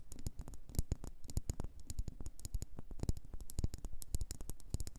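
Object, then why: Wax pillar candle. Long nails tap a solid red faceted wax pillar candle, producing a quick, uneven run of clicking taps. Each tap is short and dry, with a soft low thump under a bright click and almost no ring after it.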